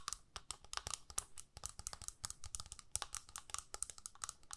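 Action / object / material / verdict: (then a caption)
tap / small plastic palette with a clear plastic lid / plastic / none. Long nails tap and scratch the clear lid of a small, hollow plastic eyeshadow palette held close up. The result is a rapid run of about thirty quiet, dry, bright clicks and scrapes, each dying away almost at once.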